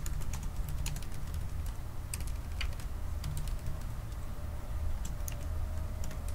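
Both hands tap with their fingertips on the black plastic keys of a silver aluminium laptop keyboard, producing a quick, irregular stream of light, bright clicks. A steady low hum sits beneath the typing throughout.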